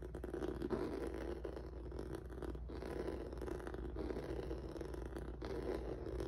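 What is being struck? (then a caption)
Textured rubber mat scratched with fingertips and nails. Fingertips and nails scratch across a flat black rubber/vinyl mat with a textured noodle surface. The result is a steady, dense, rasping scrape, full in the low and middle range, with brief dips in the stroking along the way.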